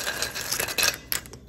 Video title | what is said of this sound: หมูกระจก สามชั้น กรอบๆ หมูไม่แข็ง ไม่อมน้ำมัน ทอดง่ายๆ Crispy Pork Cracker | ฟังเสียงดูสิคะเสียงความกรอบนะะคะกรอบมากค่ะ